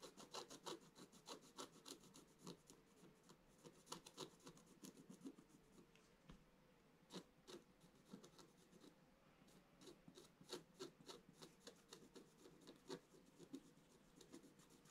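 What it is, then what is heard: Scratch-art paper page being scratched. A wooden stylus scratches strokes into the black coating of a scratch-art paper page lying in a flat book. Quick, irregular, dry scraping strokes repeat steadily, each with a brief bright rasp and almost no ring, at a quiet level throughout.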